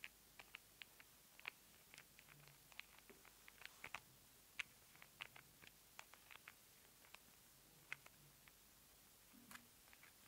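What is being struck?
Plastic squeeze tube.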